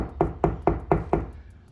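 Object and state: Drywall over a stud, solid.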